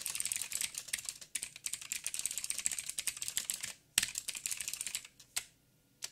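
Fingertips of both hands type rapidly on a backlit mechanical keyboard with black plastic keycaps on a silver frame and a hollow housing. The result is a dense run of short, bright, clicky key taps with almost no low end. Brief pauses break the run, and it thins to a few isolated keystrokes at the end.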